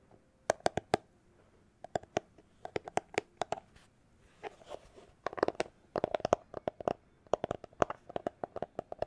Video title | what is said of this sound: ASMR Tapping Sounds With Cyberpunk 2077 Background | it's a plastic glasses holder case